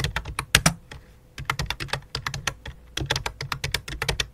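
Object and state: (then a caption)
Plastic computer keyboard being typed on. Both hands tap rapidly on a full-size white and light-blue plastic computer keyboard resting on black cloth, typing with fingertips and long dark nails. The bursts of bright, crisp clicks come with a soft low thud, and there is a brief pause near the middle.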